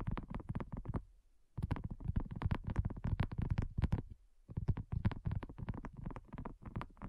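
Both hands tap and scratch a large, flat, pink heart-shaped silicone coaster with a dotted texture, solid and thin, lying on a black surface, using medium-length natural nails and fingertips. Rapid, dense runs of soft, dull taps with a low, muffled thump and almost no ring come in three bursts separated by two short pauses.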